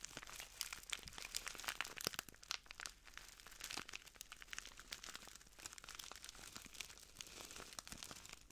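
A small clear plastic bag full of translucent granules is crinkled and squeezed by the fingertips of both hands. The result is a quiet, steady run of bright, dry crinkling and crunching, with many tiny crackles that stop almost instantly and carry little low end.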